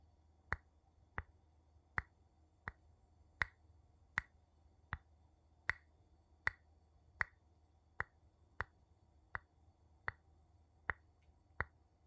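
A wooden spoon taps on a glass object 16 times at a slow, steady pace. Each tap is a short, dry click with a bright tone near 2 kHz that dies away almost instantly, over a faint low background hum.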